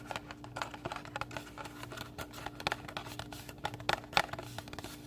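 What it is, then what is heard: Paper booklet cover. Fingernails scratch and rub across the thin card cover of a small pink paper-covered recipe booklet held in both hands. The result is a quiet, dry run of quick scratchy ticks and rasps with no ring, a few sharper bright clicks standing out near the end, over a faint steady low hum.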